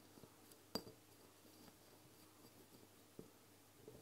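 Long fingernails on both hands tap and clink on a medium amber glass castor oil bottle with a black dropper cap, standing upright on a wooden table. A sharp, bright clink with a brief high ring stands out early, followed by a softer clink later and faint light tapping over a quiet background.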